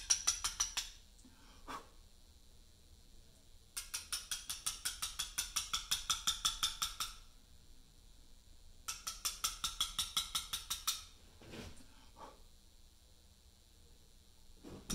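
A carver taps a chisel into a large, solid Portland limestone memorial slab with a mallet, giving three quick runs of sharp, bright clicks with a few scattered single taps between them. Each tap is short and dry, dying away almost at once with very little low end.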